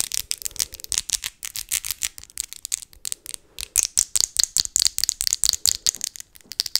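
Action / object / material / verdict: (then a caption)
tap / acrylic fake nails / acrylic / none. Long Christmas-themed acrylic fake nails with glitter accents are tapped tip to tip in front of the face, the small, hard, hollow-ish plastic nails of one hand struck by the long nails of the other. About 37 quick, dry clicks come in an uneven, rapid rhythm. Each is bright and sharp with almost no low end and dies away almost instantly.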